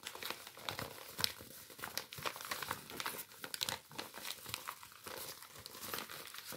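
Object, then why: Paper bag. Hands crumple and rub a white paper bag with a printed circular logo. The result is a steady stream of dry, bright crinkling and crackling with many short, sharp snaps. The sound is mostly high-pitched with almost no low end.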